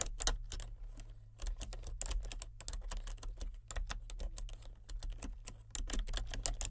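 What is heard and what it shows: Fingertips with painted nails type on a full-size plastic computer keyboard with color-changing backlit keys. The result is a rapid, uneven stream of bright, clicky key presses with very short decays, over a steady low hum.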